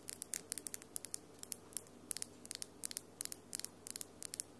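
Long, solid acrylic nails with pink and glitter polish click and scratch against each other just above a microphone. About two dozen quick, bright, dry clicks tick out in an irregular patter, each stopping almost instantly over a soft hiss.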